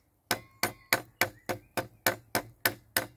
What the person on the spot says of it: that sounds quite solid